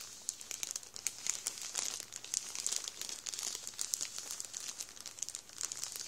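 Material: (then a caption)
Plastic. Fingertips rub the plastic of a full Warburtons bread roll bag, then the hand moves away. A dense, continuous crinkling of rapid, crisp plastic crackles with a bright, hissy high edge and almost no low end, holding steady for about six seconds.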